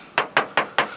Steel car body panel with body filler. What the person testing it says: hear some Bondo up in here. Hear how it sounds dead? Hear that dead noise?